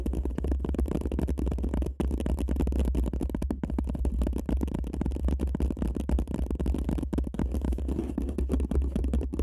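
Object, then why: Empty paper cup over a microphone. An empty paper cup is turned over the microphone while long nails scratch and tap up and down its sides. The result is a dense, continuous stream of rapid scraping and tapping with a heavy, muffled low rumble and little brightness.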